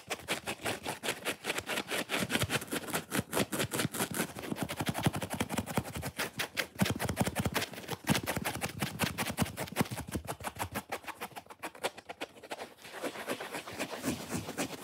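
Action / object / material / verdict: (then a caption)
scrape / foam sponge block / foam / none. Long fingernails scratch fast and hard across a solid, rectangular, watermelon-shaped foam sponge block with a grey-white foam edge and a red top. The result is a dense, rapid run of short, crackly scraping strokes with bright hiss, with a brief thinner, quieter stretch near the end before the scratching picks up again.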